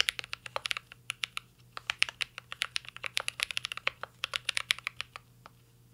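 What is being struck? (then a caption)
Mechanical keyboard with aluminium case and plastic keycaps. Fingertips of both hands type steadily on a full-size CYBERBOARD R3 mechanical keyboard with an aluminum case, plastic keycaps and Holy Panda switches. The clip is a rapid, uneven stream of short, bright, crisp clacks that stop sharply with no ring, over a faint low hum.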